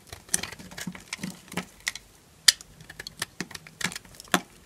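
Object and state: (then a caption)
Dry bar soap, crunchy. A solid yellow bar of dry soap held in the hand is carved with a small knife, shaving off crunchy flakes. Irregular, bright, crisp scraping crunches come in short bursts, with about twelve distinct sharp cuts standing out against the quiet between them.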